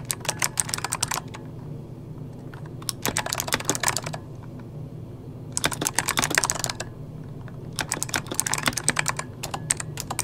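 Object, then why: Plastic mechanical computer keyboard. Fingertips of both hands type rapidly on a full-size backlit mechanical computer keyboard with plastic keycaps, producing bright, sharp clicky key taps. The typing comes in four quick bursts separated by short pauses, with a steady low hum underneath.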